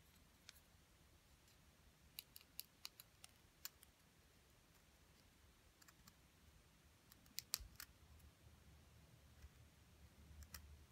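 A wooden stick scratches and chips at the top of a small, solid plaster excavation block with a purple crystal-shaped coating, held in the hand as white powder falls away. About a dozen sharp, bright clicks and scrapes ring out in scattered clusters over a faint low hum, each dying away almost instantly.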